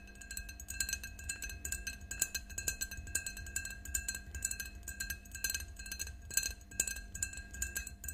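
Long nails tap rapidly on the sides of an empty, clear faceted drinking glass standing on a table. The result is a steady stream of light, bright clinks with short, high ringing tones over a faint low hum.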